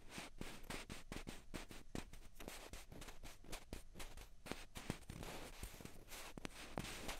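Two small hollow white plastic ping pong balls, held one in each hand, are tapped and scratched with long fingernails. Quick, sharp clicky taps mix with a steady scratchy rasp, giving a quiet, close, continuous texture of light hollow knocks over soft scraping.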